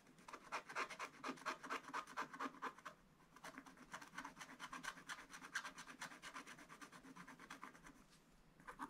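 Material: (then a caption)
Coated paper. A wooden stylus scratches a crab shape into the black coating of a flat scratch-art paper page while hands hold the book steady. Quick, rhythmic back-and-forth scratching strokes give a dry, bright rasp centered in the upper mids. The strokes briefly ease off around the third second and again near the end before resuming.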